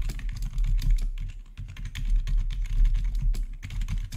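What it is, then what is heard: Plastic keyboard being typed on. Fingertips of both hands rapidly press the keys of a full-size black plastic RGB backlit gaming keyboard with a hollow housing, recorded close up. A steady, dense stream of clacky typing taps rides over a low, hollow thump, with each keystroke dying away quickly.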